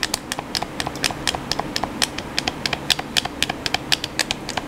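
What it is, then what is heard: Plastic game controller buttons clicking. Thumbs and fingertips click the buttons of a hollow black plastic PS4 controller, producing 32 quick, dry, bright clicks at an uneven pace. Each click is sharp with almost no ring, over a faint low background hum.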